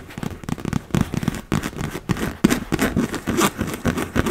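Long red nails rapidly tap and scratch across the taut plastic of a large, fully inflated, hollow blue and yellow PVC beach ball. The result is a dense run of short, dry clicks and scratchy crackles with a hollow, low thump under each tap. The sound dies away almost instantly.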